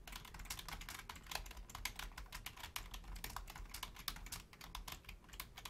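Both hands, with long painted nails and fingertips, type rapidly on a black plastic Logitech full-size keyboard with a hollow shell and membrane keys. A quick, uneven stream of short, bright clicks and taps fills the clip, each dying away almost at once over a quiet low hum.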